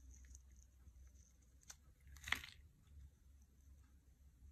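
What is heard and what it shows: A knife blade scrapes the surface of a solid, hand-sized gray soap bar held in the hand, shaving off white-gray flakes and curls. A faint tick comes first, then a short, bright, crunchy scrape rises and fades quickly against a quiet low hum.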